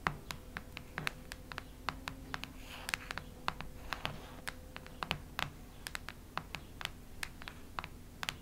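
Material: Cardboard.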